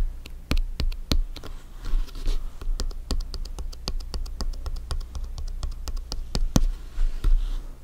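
Fingertips and nails tap and scratch the top of a blue France soccer ball with synthetic-leather panels, hollow and inflated, while the ball is rocked. A quick, irregular run of short, dry taps gives each strike a bright click over a deep, hollow thump, with soft scratchy rustling between hits. Each tap dies away almost at once.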